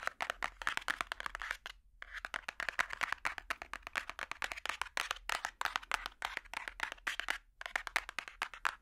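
A large hardcover children's picture book with a solid cardboard cover, held flat, is tapped rapidly with metal finger picks. Dense runs of sharp, dry, bright clicks with no ring follow one another, broken by brief pauses near 2 and 7.5 seconds.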